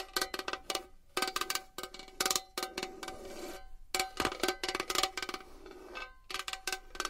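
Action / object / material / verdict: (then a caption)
tap / small metal box / metal / none. A small metal box is tapped and scratched with long nails, giving rapid, bright metallic clicks in quick bursts with short ringing tones between them. Softer scratching fills the gaps, making a steady, crisp, close-up pattern.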